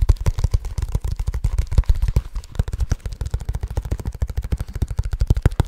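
Fingertips of both hands tap fast and continuously on a small black leather bag held close to the microphone. The result is a rapid, uneven patter of short, dull, deep thumps, with almost no bright content and no ring after each tap.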